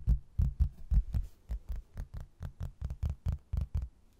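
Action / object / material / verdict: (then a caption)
tap / laminated hardboard placemat / hardboard / none. A rigid, flat, rectangular laminated hardboard placemat, a solid thin board with a blue textured border and a printed photo of an Irish castle, is held up in both hands and tapped and scratched with fingertips and nails. About 18 quick, dull, low thumps sound at a loose, slightly uneven pace of roughly two per second. Each knock is deep and muffled and dies away almost at once.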